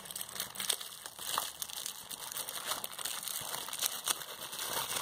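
A clear plastic bubble wrap sheet is held in both hands while its air bubbles are pinched and popped with fingertips and nails. The result is a steady stream of bright, dry crinkling with scattered sharp little pops and almost no low end.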